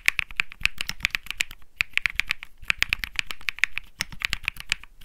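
Fingertips type steadily on a compact 65% Think 6.5 mechanical keyboard with Bsun Lollipop switches and plastic keycaps, resting on a grey mat. It makes a rapid stream of sharp, bright clacks centred around 2 kHz, with a light low thud under each press and almost no ring. There is a brief pause near the 1.7-second mark.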